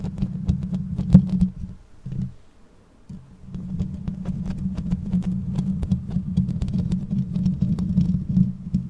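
Long nails scratch and tap the bare metal mesh grille and upper body of a black condenser microphone. The result is a dense, low, throbbing rumble of scratching with sharp clicks scattered through it. It drops almost silent for a moment around the three-second mark before the scratching resumes steadily.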